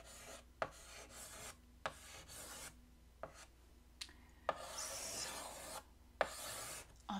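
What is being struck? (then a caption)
Chalk on a wood-framed chalkboard. White chalk held in the fingertips scratches strokes across a large, flat black chalkboard set in a wooden frame. Bright, raspy scraping strokes come in bursts, and seven sharp taps mark where the chalk strikes the board. Quiet pauses separate the strokes.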